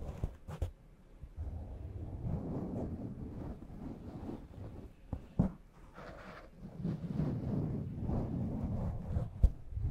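Fingertips and long nails gently rub and scratch a black foam windscreen covering a large microphone. The result is close, muffled rustling and scraping that sits mostly in the low range, with a few sharp, brief clicks standing out.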